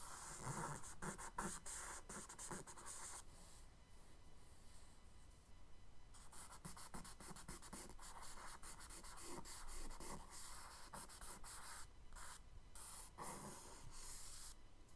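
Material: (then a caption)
Paper. A charcoal stick held by the fingertips is scratched across a tan kraft paper page in a spiral sketchbook in short strokes to draw water. The result is soft, gritty, bright scratching in quick, uneven bursts, with a quieter, smoother stretch in the middle before the strokes pick up again.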